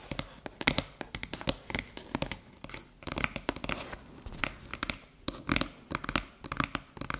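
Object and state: Aluminium USB hub.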